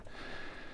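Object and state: Nothing is struck.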